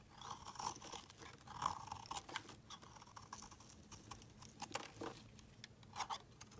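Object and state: Bar of soap being shaved with a blade.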